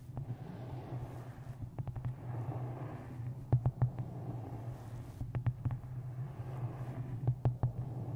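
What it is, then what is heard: Hardcover book tapped with fingernails. Long green nails and fingertips tap the top edge and cover of a solid, closed, dark-covered hardcover book with a taped photo on the front, resting on top of a microphone. Quick clusters of short, sharp clicks ring over a steady, deep, muffled rumble that holds most of the sound low.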